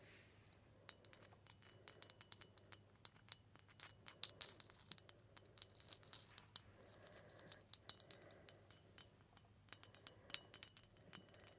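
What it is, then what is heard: Glass Christmas bauble. Long red-painted nails tap and scratch the ribbed surface of a round, hollow, hand-sized green-gold glass Christmas bauble with a metal cap, hanging in place. The result is a quiet stream of quick, bright clicks and glassy clinks with almost no ring, over a soft scratchy rustle.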